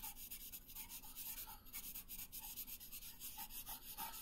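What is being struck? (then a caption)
Paper sheet rubbed with a wooden colored pencil. A pink wooden colored pencil is rubbed across a thin paper coloring sheet resting on a wooden table in short coloring strokes. The result is a quiet, steady run of dry, scratchy strokes with a bright, hissy texture and a faint low rumble underneath.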